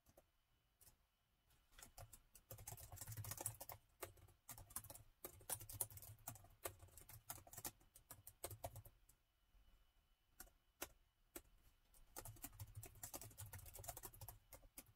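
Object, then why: Plastic laptop keyboard. Steady fingertip typing with both hands on a plastic laptop keyboard set in a gold metal body. Quick, soft, bright key clicks over a low thump come in dense bursts with short pauses. The clicks stay quiet and die away almost at once.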